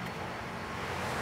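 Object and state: Nothing is struck.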